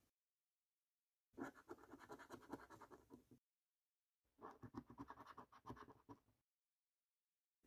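A coin scratches the number panels on a thin, flat paper National Lottery Snack Stack scratch card with a latex coating. Two bursts of quick, rough scraping, each about two seconds long, are separated by silence. The scraping is dry and rasping, centered in the low mids with little deep bass.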